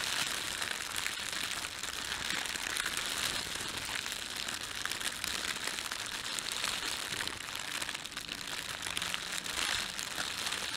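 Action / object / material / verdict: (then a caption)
scrape / thin plastic bread bag / plastic / none. Fingertips rub and crumple the film of an empty, thin red printed plastic bread bag. A continuous, dense, bright crinkling runs at a steady level throughout, with almost no low end.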